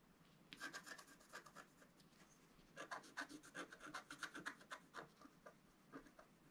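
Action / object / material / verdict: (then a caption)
scrape / wax-coated scratch-art paper sheet scratched with a wooden stylus / waxed paper / none. A wooden stylus scratches and rubs the coating of a flat, black wax-coated scratch-art sheet, about A4 in size, resting on a table. The short strokes make a quiet, dry, raspy scratching with bright, gritty bursts that come in two clusters separated by a brief pause.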